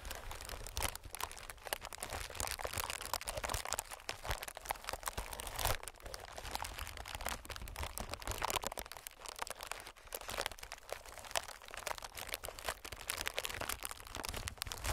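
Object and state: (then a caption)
Plastic air packing pillow. Fingertips of both hands tap and scratch across a clear, hollow, inflated plastic-film air packing pillow. A steady stream of quick, dry crinkling taps and scratchy crackles fills the clip, bright and papery, with a faint low rumble underneath. Each tap dies away almost instantly.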